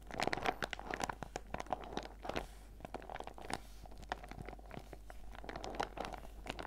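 A small, clear, flexible PVC zip pouch with a pineapple and watermelon print, full of face mask sachets, is held in both hands and squeezed and crinkled with the fingertips and long red nails. Dense plastic crinkling and crunching comes through as a rapid run of short, sharp crackles with a faint midrange tone, followed by quieter rustling between the bursts.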